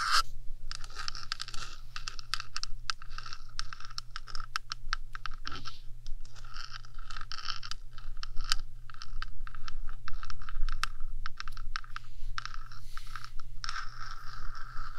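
Long acrylic nails on one hand scratch along the top of the hollow, rectangular metal housing of a 3Dio binaural microphone. Dense, bright scratching runs throughout, broken by quick sharp clicks and scrapes. A steady low hum sits underneath.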